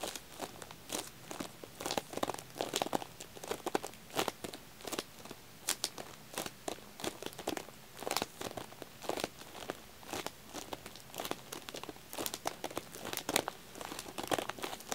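Fingertips tap and scratch across a pack of stacked green wax tealights wrapped in clear plastic film with a paper label. A steady run of quick, crisp taps and dry crinkling film sounds repeats throughout, quiet and bright with very little low end.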